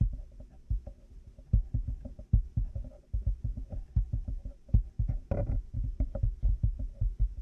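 A black plastic headphone headband with cat-ear pieces, resting on a 3Dio binaural microphone, is tapped with fingertips and nails. The result is a steady run of soft, muffled, low thumps at an uneven rhythm, with faint brighter clicks from the nails. Around the middle there is a brief scratchy, rustling burst.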